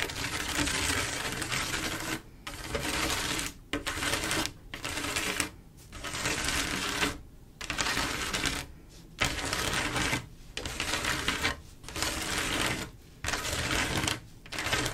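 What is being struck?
Glass mosaic tile panel.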